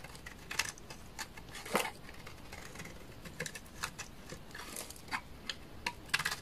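A utility knife blade scrapes shavings off the face of a solid, dry, beige bar of laundry soap. It makes a quick series of short, crisp scraping and crackling strokes that are bright and dry, with almost no ring after each one. The strokes sit over a quiet background.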